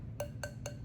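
A larger unmarked ironstone dish with heavy gray crazing on the inside is tapped four times. It gives dull, short clicks with no ring at all, since crazing can stop ironstone from ringing.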